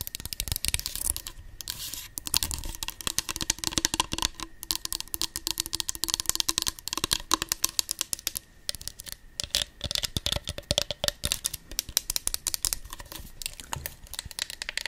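Long acrylic nails tap and scratch a tall, hollow, pink patterned plastic body mist bottle with a clear cap, held upright near the microphone. The result is a dense, continuous run of quick, dry, bright clicks and scratchy rustles with almost no ring, and a faint steady tone underneath.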